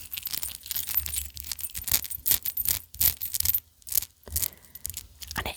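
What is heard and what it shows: A large old all-metal chain of jewelry, a lattice of clover-shaped rings with dangling metal balls, partly tarnished silvery black, is handled and shaken. Its dangling parts jangle and chime in quick, uneven bursts of bright, short metallic clinks with very little ring.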